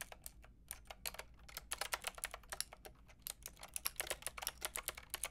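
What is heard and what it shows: Fingertips with long red nails type rapidly on a Lofree mechanical keyboard with a white plastic case and round pink and grey plastic keycaps. The result is a quick, uneven run of sharp, bright clacks that stop almost instantly, over a faint low hum.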